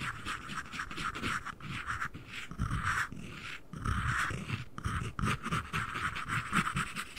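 The lid and base of a small, hollow, empty white cardboard ring box are held one in each hand close to the mic and tapped and scratched with fingernails. The result is a steady run of soft, hollow knocks with low thumps, layered over a dry, papery scratching hiss.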